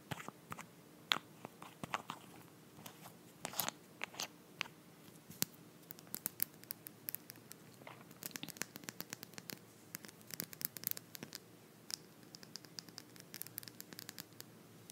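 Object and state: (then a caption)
Glass nail polish bottle with plastic cap. A small Essie nail polish bottle, glass body filled with beige polish and topped with a white plastic cap, is handled and tapped with long blue-painted nails while the cap is twisted. Quiet, crisp clicks and taps come in rapid irregular bursts, with bright scratchy, crunchy textures and almost no low end. Each tap dies away instantly.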